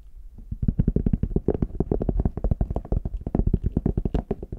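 Fingertips tap the embossed lid of a small, hollow, brown faux leather hard shell case, then the case is held in both hands while nails tap its smooth back. The result is a rapid, steady stream of short, dull, hollow knocks. They are deep and muffled, with almost no ring after each tap.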